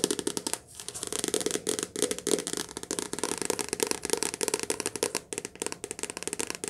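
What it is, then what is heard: Paperback book. A softcover paperback book is held upright in both hands while long nails tap fast on its glossy cover. The result is a rapid, continuous stream of short, crisp clicks with a hollow papery tone around 420 Hz, bright high ticks, and almost no low end.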